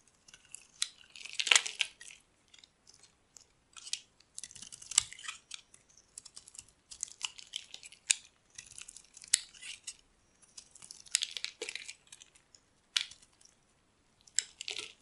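A solid yellow rectangular bar of dry soap, held in hand, is carved with a metal blade so chunky flakes break off. Each stroke makes a dry, crisp, bright scraping crunch with no low end. The crunches come in short bursts separated by quiet pauses throughout the clip.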